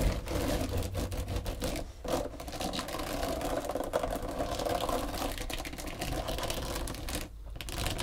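Long pointed green nails on both hands tap and scratch a long, flat, pale pink textured foam back-buffer body sponge. A dense, steady run of soft scratchy tapping carries a muffled midrange tone over a low rumble, with brief drops in texture near 2 and 7 seconds.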